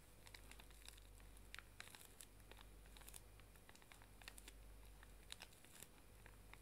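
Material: Plastic film.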